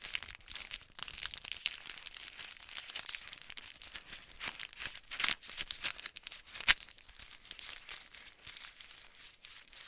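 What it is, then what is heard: Crinkly plastic wrapper packet. A small, flat, white-pink printed plastic wrapper packet is crinkled and bent with fingertips and long nails close to the mic. The result is a steady stream of bright, dry crinkling and crackling with almost no low end, plus a few sharper pops standing out along the way.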